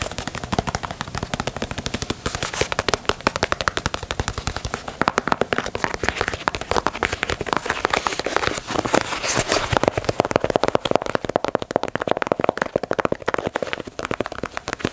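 Long nails tap quickly on the toe box and swoosh panel of a black and white leather Nike Dunk sneaker. The result is a fast, continuous stream of dry, sharp clicks with no ring, centered in the midrange with bright crackling edges and fairly even loudness throughout.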